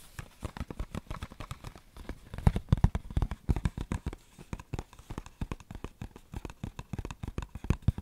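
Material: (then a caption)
Cardboard. A small, hollow, printed cardboard tea box (berries flavour), held close to the mic, is tapped and scratched with fingernails. The result is a rapid, irregular stream of short, dry, low, hollow taps with faint scratchy rustling. The taps swell louder in the middle and again at the end.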